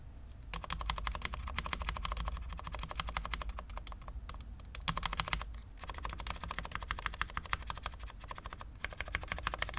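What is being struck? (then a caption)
Low-profile mechanical keyboard, ABS keycaps, steel plate. Fingertips press keys one-handed on a full-size low-profile Cherry MX10.0 mechanical keyboard with dark ABS keycaps on a steel plate, in a hollow case with no foam, resting on a desk mat. A steady stream of short, bright clacks with a low hollow thump underneath continues throughout, with brief lulls near the middle before the typing picks up again.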